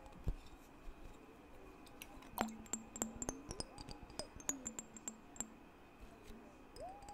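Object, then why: Glass mason jar partly filled with water. A clear glass mason jar, partly filled with water, is held in both hands and tapped on the glass with the fingertips. The result is a quick, uneven series of soft, bright clinks with brief high ringing tones, plus low gliding tones from the water inside.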